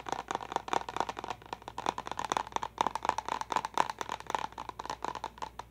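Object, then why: Plastic water bottle. A clear plastic water bottle with a pink lid and a small confetti pattern is held upright and tapped rapidly with long nails. About thirty quick, sharp clicks come in an uneven, fast rhythm, each with a hollow plastic ring around 950 Hz and a bright edge. Each tap dies away almost instantly.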